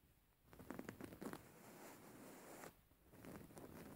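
Painted fingernails of both hands scratch a soft, filled white cotton cushion with grey flower embroidery, held upright. A quick run of sharp, zipper-like scratches comes first, followed by a steadier, softer fabric rasp that briefly fades before picking up again. The sound is dry and close with a bright edge.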